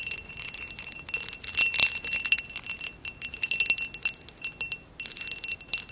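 Long acrylic nails tap and scratch a hollow amber glass vase with a woven relief pattern, lying on its side. A fast, dense stream of bright clicks and scratchy ticks rides over a thin glassy ring near 2.7 kHz that dies away quickly. The clip briefly goes quiet just before the fifth second, then the tapping resumes.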